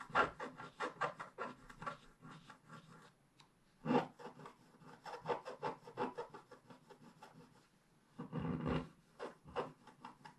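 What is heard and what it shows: A wooden scratch stick scratches lines into the black coating of a scratch-art paper page in a scratch book, lying flat on a table. Quick, dry, rasping strokes come in bursts of short scrapes, with brief pauses between the bursts.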